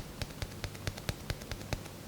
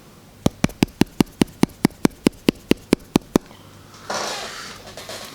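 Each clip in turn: First: glass phone back. Second: plastic phone back, sounds cheap.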